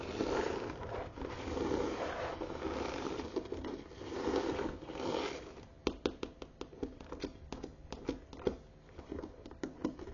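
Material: Leather.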